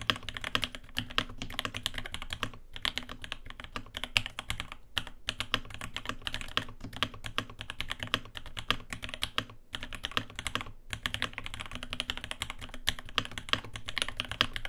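A navy 80% mechanical keyboard (RAMA WORKS U80-A) with an aluminium case, brass plate and ABS keycaps, sitting on a desk mat, is typed on by both hands' fingertips. A fast, steady run of short, crisp key taps comes through, each with a bright click over a low thock, and the taps pause only briefly now and then.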